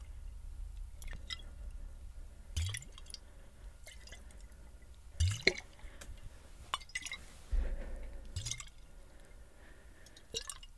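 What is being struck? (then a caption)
Glass swing-top bottle with water. A tall clear glass bottle with a white swing-top cap, partly filled with water, is held in one hand and tilted and shaken so the water sloshes inside. Short, bright splashes and dripping gurgles with glassy clicks come in scattered bursts over a steady low hum.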